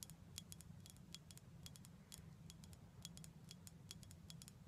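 A glass bottle of prickly pear cactus syrup is tapped in quick, irregular bursts of light clicks. Each tap gives a bright, short glassy tick with a ring near 3.3 kHz that fades almost at once. A steady low hum runs underneath throughout.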